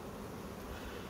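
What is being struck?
Nothing is struck.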